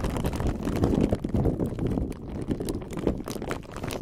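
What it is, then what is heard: Plastic bag of silicone beads. A clear plastic bag filled with many small silicone beads is gripped and squeezed by the fingertips of both hands close to the mic. The bag crinkles and the beads rattle together in a continuous, irregular stream of soft, muffled clicks and rustles, heavy in the low end with little bright content, over about four seconds.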